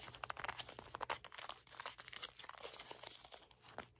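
A red cardboard box is held in both hands while fingertips and nails tap its top and scratch its sides. The result is a quiet, dense run of dry, crinkly taps and brushing scratches with a bright, papery edge and very little low end.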